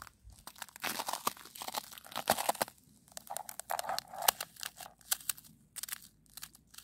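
Long almond-shaped acrylic nails and fingertips scratch and rub across a flat, icy snow crust on solid ground outdoors. The result is a dense run of dry, crunchy, crinkling scrapes, bright and gritty with a midrange body around 780 Hz. Bursts swell and fade with little low end and no ringing.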